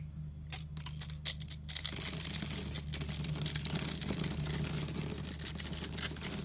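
A utility knife cuts a solid rectangular green soap bar stamped EXXE into tiny cubes. A few short, crisp scrapes give way after about two seconds to dense, continuous bright cutting and scraping over a low steady hum.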